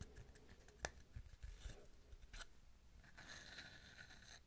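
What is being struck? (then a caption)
Wooden tree slice coaster. Long nails tap and scratch a palm-sized wooden tree slice coaster, a round, flat slice of solid wood with a bark edge, held close to the mic, working over both the cut face and the bark side. A few sharp, dry taps stand out against soft scraping, then a steadier bright scratching takes over toward the end. The result is a quiet, close, crisp texture with very little ring.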